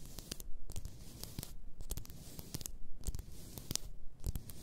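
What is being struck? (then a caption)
Glass bottle filled with bath salt. Long nails rub and scratch the sides of a large bottle, apparently glass, filled with pink bath salt. Dry, rasping strokes come in irregular bursts, each with crisp, bright edges and a soft low rumble underneath, separated by quieter gaps.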